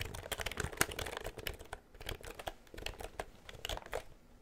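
Fingertips tap and press the keys of a black plastic computer keyboard with a hollow housing, held tilted in front of the microphone. The result is a quiet, irregular run of quick, dry, clicky taps with bright edges and almost no ring after each press.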